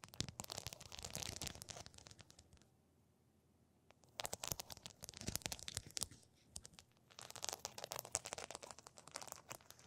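Long pink nails tap and scratch across a flat rectangular sheet densely covered in small pink and blue plastic rhinestones, lying on a table between two microphones. Dense bursts of bright, crisp clicking and crackly scraping fill the clip, broken by a near-silent pause around the third second and a brief lull after the sixth.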